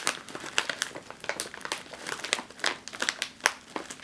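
A sealed, metallized foil snack chip bag is gripped, squeezed and crinkled in one hand. It makes a steady run of sharp, bright crackles and crinkles with almost no low end, each snap dying away almost at once.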